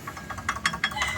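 A loose brake pad on a Mitsubishi Adventure is moved back and forth against its loose metal retaining clips, making a series of short, sharp, bright metallic clicks over low background noise. The loose clips are faulty and cause the clicking.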